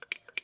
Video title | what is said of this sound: Secrets of Jaguar XK8 Ep 110 Wash & Pump | if you shake it you can hear the float which is in here